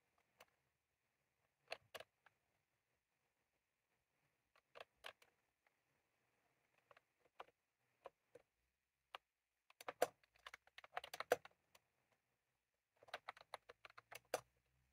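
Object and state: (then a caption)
Plastic round-key keyboard being typed on. Fingertips of both hands press the keys of a white/cream plastic retro computer keyboard with round typewriter-style keycaps, resting on a desk. Quiet, short, sharp plastic clicks come in scattered pairs and small clusters separated by silent pauses. A denser flurry of clacking follows toward the end.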